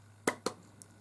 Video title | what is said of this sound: Argos returns - Fixing a Bush PCD-220B Jog Proof Portable CD Player not playing discs | I can hear the laser hunting if you tap it